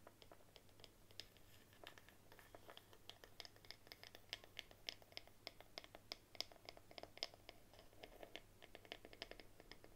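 A bamboo paddle hairbrush is held on its side while long nails tap and scratch its flat, solid bamboo back. The result is a quiet, steady run of short, dry, bright clicks and scratchy scrapes with no ring, over a faint low hum.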